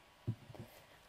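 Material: Nothing is struck.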